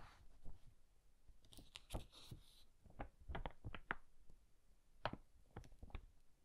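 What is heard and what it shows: Single pages of an old hardcover book with yellowed pages are flipped by fingers, one at a time. The result is quiet, dry paper rustles and brief, crisp flicks that die away almost instantly, with a soft low brushing underneath and a few brighter crackles.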